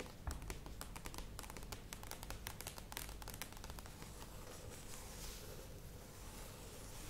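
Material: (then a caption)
Plastic. Long acrylic nails tap and scratch the printed sides of a medium plastic yogurt tub with a clear lid standing on a table. Quick, crisp clicking taps come first, then give way to a softer, steady scratching hiss over a low background rumble.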